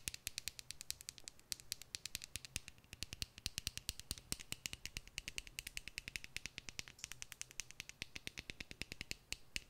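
Long nails tap rapidly and steadily on a small hollow plastic tube filled with red glitter, held upright. Each tap is a short, dry, bright click that dies away at once, over a faint low hum.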